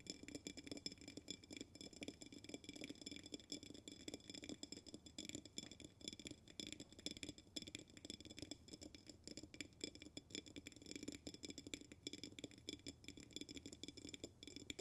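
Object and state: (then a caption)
Glass jar with bamboo lid. Fingernails tap rapidly and continuously on the glass walls of an upside-down glass jar resting on its bamboo lid. The quick, dry clicks blur into a steady patter with bright, high glassy tones above a soft low-mid body.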